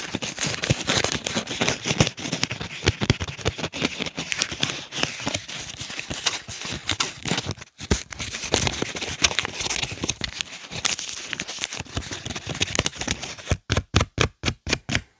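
A whole, solid yellow onion is held in both hands while fingernails scratch and rub the dry, papery skin near its stem. The result is a dense, bright crackling and crinkling with brief pauses. It ends in seven separate, evenly spaced scratching strokes.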